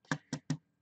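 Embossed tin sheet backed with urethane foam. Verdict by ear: Filled.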